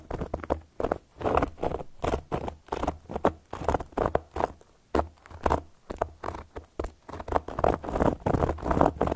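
A round, flat, solid cork board is scratched and tapped with long gold metal claw nail caps. The result is a dry, crackly patter of short scratching bursts separated by brief pauses, with a mid-range texture and a faint low rumble underneath.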